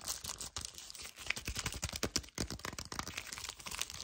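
A full, small, flat yellow cardboard sleeve from a milk chocolate hazelnut bar is held in both hands while long painted nails and fingertips grip, squeeze and scratch it. The result is a fast, uneven run of bright, dry scratches, crinkles and crunches with short bursts that stop dead.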